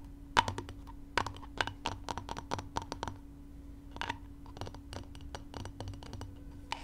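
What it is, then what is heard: Chicken eggs tapped with fingernails. Two brown chicken eggs, one with a small hole in its shell, are knocked against each other and tapped with long nails. The result is a quick, irregular run of sharp, dry clicks with a hollow, mid-pitched tick and bright edges that stop almost instantly, over a faint, steady low hum.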